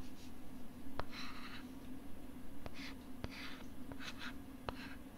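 Fingertips scratch and tap the back of a thin, flat, pink plastic LCD writing tablet held close to the mic. Short bursts of brushy, bright scratching alternate with sharp, clicky taps, all over a steady low hum.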